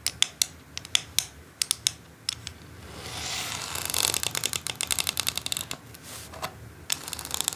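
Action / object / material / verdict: tap / plastic quilling board tapped and scratched with long nails / plastic / none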